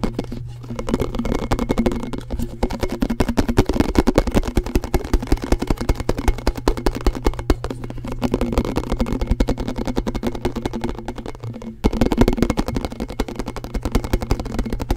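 A round, thin, hollow blue plastic snack-canister lid, held off its canister in one hand, is tapped quickly with the fingertips and nails of the other hand. The result is a rapid, uneven stream of short, dry, hollow clicks over a steady low hum. There is a brief dip just before 12 seconds, after which the tapping returns slightly louder.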